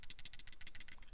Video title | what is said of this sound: 2500 Subscriber Giveaway Contest! Thank you! | hear it shaking right there that is detent lash that little bit of play